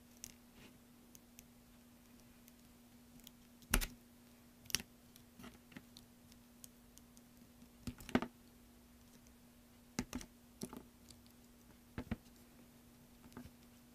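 A thin metal blade scratches and carves into a large solid green soap block on a black surface, surrounded by carved flakes. Short, sharp scraping clicks come at irregular intervals over a quiet background with a faint steady hum.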